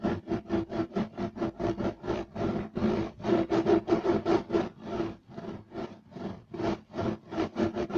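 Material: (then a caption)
Woven fibre. Short nails of both hands rapidly scratch a flat, beige, striped woven loop-pile carpet laid solid, producing about 16 dry, raspy strokes. The strokes come at an uneven, quick pace, with a gritty midrange texture centered near 330 Hz and some brighter hiss. Each stroke stops almost instantly, and the strokes soften briefly partway through before picking up again.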